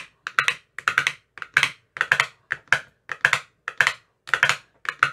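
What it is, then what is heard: Plastic ice cube tray with silicone cups. A hand-held metal rod with a white tip taps into the green silicone cells of an empty clear plastic ice cube tray. Short, dry, clicky knocks come in irregular little bursts, each with a hollow mid-pitched tone and a bright edge. There is almost no low end, and each tap dies away almost instantly.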